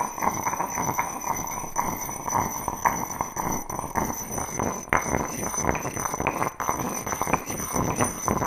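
A heavy, solid grey granite mortar, hand-sized, is worked with its matching stone pestle held in both hands, grinding and knocking stone on stone inside the bowl. Dense, rapid scraping and clacking, with a bright ringing tone around 1 kHz, continues steadily throughout, broken by occasional sharper knocks.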